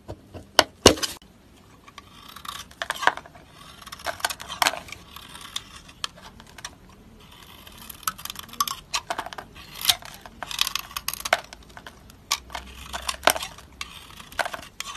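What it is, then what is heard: Bar of soap being carved. A utility knife blade cuts and scrapes flakes off the edge of a solid rectangular green soap bar held in one hand. Short, crisp scraping and slicing strokes come in irregular bursts, bright and dry with almost no low end or ring. Quiet pauses fall between the cuts.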